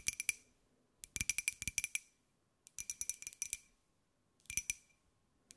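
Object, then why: Small glazed ceramic jar. A small, hollow, white glossy ceramic jar with a pineapple print is held in both hands and tapped with long white nails. Quick, bright, clicky taps come in rapid bursts separated by short pauses. Each tap carries a faint glassy ring near 2.4 kHz that dies away almost instantly.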